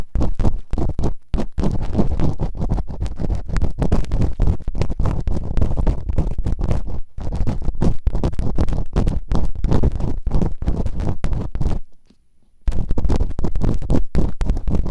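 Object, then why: Silicone ear model scraped with bamboo picks. Bamboo earpicks, held in fingertips with long nails, rapidly scratch and rub inside both open ear canals of a white binaural microphone with two soft, solid rubbery silicone ear models. The result is a dense stream of fast, close scraping and rustling with a heavy low rumble, broken by a brief near-silence around 12 seconds before the scratching resumes.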